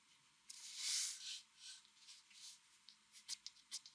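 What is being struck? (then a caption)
Graphite pencil on a sheet of drawing paper. A mechanical pencil scratches short hatching strokes of graphite across a flat white drawing paper sheet. Quiet, bright, raspy scratches sit almost entirely in the high range, opening with a longer, louder stroke and followed by shorter strokes and a few sharp ticks near the end.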